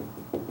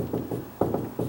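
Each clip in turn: First: One firm mid-pitched knock on a wooden door, brief and fairly dull, solid at this spot. Second: Five low, boomy knocks on the lower part of a wooden door; it sounds hollow.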